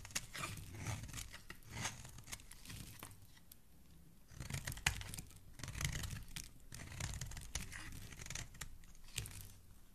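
A metal blade scrapes curled shavings off the edge of a solid pink soap bar held in hand. The result is a series of close, crisp scraping and tearing strokes with a soft low body and bright crackle on top. Brief pauses separate the bursts of strokes.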